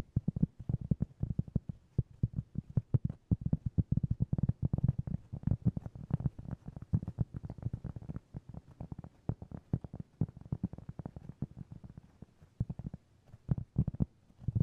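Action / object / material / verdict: tap / round cork board / cork / none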